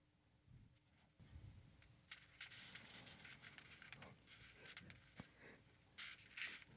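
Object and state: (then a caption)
Paper crossword puzzle book. Fingertips rub and slide across the thin printed pages of an open paperback crossword puzzle book lying on a wooden table, and the pages are turned partway through. The result is a quiet, irregular run of dry, bright papery swishes and scratchy rustles, with a few sharper brushes standing out.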